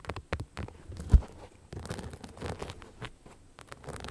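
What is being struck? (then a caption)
Rhinestone-covered knit sneaker. Long nails scratch and tap the rhinestones on the rhinestone-covered upper of a beige knit sneaker with a rubber sole, held empty in the hand. Quick, dry clicks and crunchy scratching patter come in uneven bursts, with one louder tap near the start and quiet gaps between flurries.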